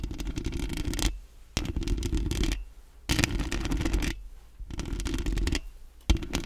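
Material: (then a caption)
Metal mesh. Long acrylic nails rapidly scratch and tap the hollow metal mesh grille of a large round microphone. The sound comes in five dense bursts of fast scratchy clicks with brief quieter pauses between them. Each burst has a heavy, boomy low end and a crackly high edge.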